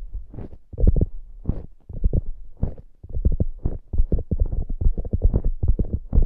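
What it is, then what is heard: Foam squishy hamburger toy. A soft polyurethane foam squishy hamburger toy with a glittery top is scratched by long acrylic nails using both hands. The result is a quick run of dull, muffled, low thumping strokes with almost no ring, coming in fast irregular bursts.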